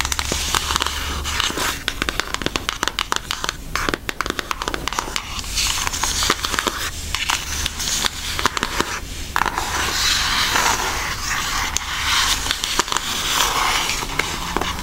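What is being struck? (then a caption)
Cardboard makeup palette tapped and traced with fingernails. An Aristocats cardboard eyeshadow palette, held edge-on, has its edge tapped and traced with long nails. Quick, dry clicks and crackly scratches come in dense clusters over a bright, hissy texture with a faint low hum beneath. Softer stretches of tracing alternate with busier bursts of tapping.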